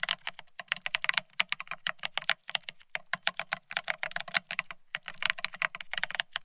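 Fingertips of both hands type fast on a full-size beige split ergonomic keyboard with plastic-looking keycaps. About 39 quick, dry, bright clacks with a faint low thud come in rapid bursts. Each stops almost instantly, with only short pauses between runs.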